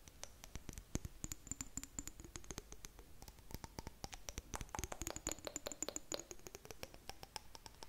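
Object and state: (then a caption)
Glass jar tapped with fingernails. Long nails tap and scratch the sides of a clear glass jar with blue contents. Quick, dense clicking taps run throughout, with faint high ringing tones from the glass rising and fading between them. The sound is quiet and close, like steady patter.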